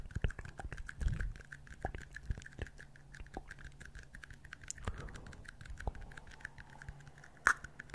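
Two small, empty, hollow red plastic party cups, one held in each hand beside the microphone, are scratched and tapped with fingertips and nails on their outer walls. The result is a quiet, irregular stream of dry, short clicks and scratchy rustles, with a faint low hum beneath and one brighter, sharper tap near the end.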